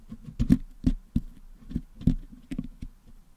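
A wooden toothpick picks at the top of a Blue Yeti microphone's hollow metal mesh dome, which is packed with blue and yellow putty, to clean the putty out. About eight short, dull, muffled scraping taps are heard, heavy in the low end with faint bright crackle and almost no ring.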